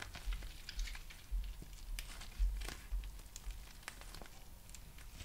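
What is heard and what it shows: A small, transparent, textured plastic packaging pouch, thin and flexible, is held up and crinkled and scratched with fingertips and nails. The result is a soft, irregular stream of bright crackles and sharp ticks over a faint low rumble, with a few louder crinkles standing out.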